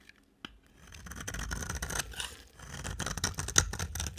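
A box cutter blade scrapes and shaves a solid, dry, pink rectangular soap bar held in a hand with long black nails. After a near-silent start and a single faint tick, dense, bright, crumbly rasping builds into continuous shaving strokes. It dips briefly midway, then resumes with sharper crackling scrapes, the loudest near the end.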